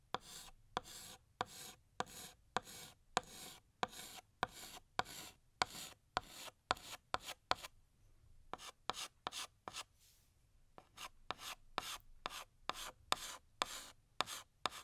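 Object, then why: Chalk stick on a chalkboard. A blue chalk stick held in the fingers rubs and scrapes across a large, flat, solid black chalkboard, re-tracing and filling in a balloon outline. About 28 short, bright, scratchy strokes come in a steady rhythm, with brief pauses near the middle.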